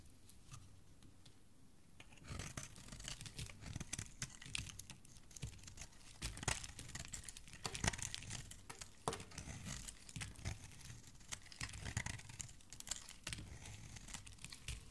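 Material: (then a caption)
Soap. A metal blade scrapes shavings off the surface of a solid green bar of soap held in a hand with dark painted nails. After about two quiet seconds, a dense run of dry, crackly scraping and crisp little snaps begins, bright and papery with a soft low rumble underneath. It continues steadily to the end.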